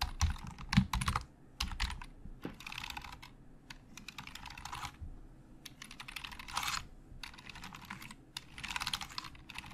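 Fingertips type fast on a hollow black plastic Logitech keyboard, hands moving quickly across the keys. Rapid bursts of crisp, bright key clicks sit over soft, low plastic thuds, with short pauses between flurries. Each click is short and dry and dies away almost at once.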